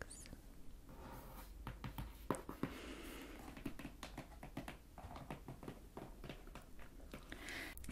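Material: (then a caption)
Cardboard. Long painted nails and fingertips tap and scratch the front and sides of a closed, hollow, medium printed cardboard box resting on a table. Quick, irregular, dull taps with short, dry decay mix with soft scratching over a quiet, low background hum.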